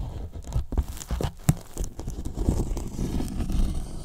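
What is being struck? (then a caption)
Polyethylene foam box. Fingertips of one hand scratch and tap along the top edge of a large, hollow white polyethylene foam box. The result is a dull, low, muffled rustle of squeaky scrapes and soft crunchy taps with very little brightness, each tap dying away almost at once.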